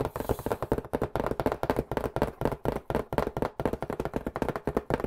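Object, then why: Cardboard pizza box. A white cardboard pizza box, held in both hands, is tapped rapidly with the fingertips close to the mic. About 28 quick, dry, hollow taps come in an uneven run, each dying away almost at once. The sound sits in a papery low-mid range around 440 Hz with little high-end sparkle.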